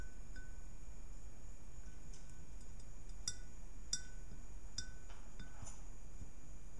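Long nails tap and scratch the sides of a round, hollow, empty, clear ribbed glass globe from its right and left edges as it rests on a purple cloth. Scattered bright, glassy clinks ring out with lingering high tones and faint scratchy rasps, all over a steady low background hum.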